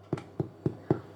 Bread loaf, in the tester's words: when you tap on it, it should sound hollow. It sounds hollow.